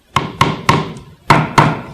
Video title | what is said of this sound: Belzona 4151 crack injection | it's not hollow anymore it's totally solid and locked out